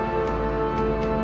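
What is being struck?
Nothing is struck.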